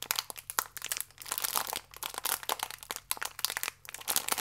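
A small, full plastic-film biscuit pack is twisted and crinkled in both hands with fingertips and nails. The result is a dense run of sharp, bright crackles and crunches with almost no low end, each snap dying away almost instantly.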